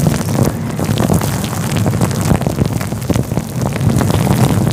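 A fluffy grey-white synthetic faux fur windscreen covering a microphone is rubbed and squeezed with the fingertips of both hands. The result is a dense, continuous low rumbling rustle with soft, muffled scratchy bursts and little high-end brightness.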